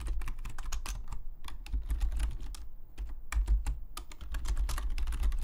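Fingertips of both hands type rapidly on a full-size black Logitech membrane keyboard with plastic keycaps, lying flat on a desk. A fast, uneven stream of short, bright plastic clicks and taps sits over a steady low hum, with two brief pauses in the typing.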